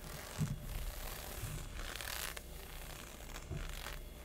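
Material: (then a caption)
Synthetic fabric. Fingertips and short nails scratch and rub across thin, textured synthetic leggings with a honeycomb pattern, stretched over the thigh and hip. The sound is a dry, bright scratching hiss in uneven strokes over a low rumble, with a few soft thumps where the hand presses the leg.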